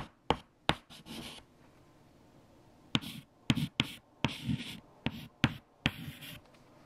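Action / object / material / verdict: scrape / white chalk on a chalkboard / chalk / none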